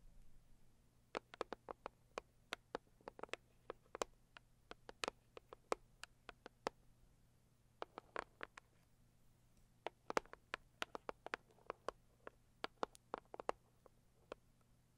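Long acrylic nails tap and scratch the lid of a medium, closed, hollow pink floral cardboard gift box. Dozens of quiet, sharp, dry clicks come in irregular bursts, each dying away almost instantly, with bright edges and a midrange knock over a faint low steady hum.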